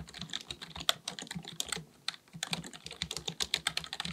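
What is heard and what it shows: A black full-size plastic computer keyboard on a desk is typed on with the fingertips of both hands. Rapid, crisp, bright key taps come in quick runs, with a brief pause around the two-second mark. Each tap is short and dry.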